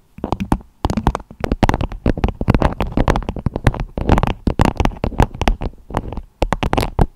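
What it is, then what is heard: Beeswax food wrap tapped over a microphone. Long acrylic nails tap and scratch a beeswax-coated fabric food wrap with a strawberry print, draped over the microphone head. Rapid, dense bursts of soft crinkly clicks and scrapes run throughout, heavy in low, muffled thumps with brief pauses between runs.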